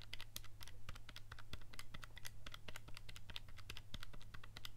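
Fingertips rapidly press and click the buttons of a handheld black plastic scientific calculator with a hollow casing, held in the other hand. Quick, crisp, bright plastic clicks tumble over one another in a steady stream, each dying away almost instantly. A constant low hum sits underneath.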